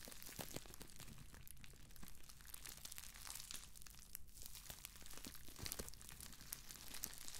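A crumpled sheet of clear plastic bubble wrap is held close and squeezed, scratched and crinkled by fingers with long acrylic nails. Dense, continuous crackling and rustling carries sharp clicks of popping bubbles, over a steady low rumble.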